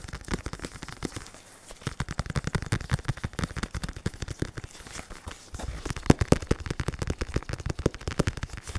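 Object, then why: Foam-padded synthetic leather focus mitt. Latex-gloved fingertips rapidly tap the curved, foam-filled synthetic leather surface of a black, red and white RDX padded boxing focus mitt. The result is a fast stream of short, dull, low thumps with almost no ring, broken by brief pauses near 1.5 and 5 seconds. The tapping grows louder and denser in the last few seconds.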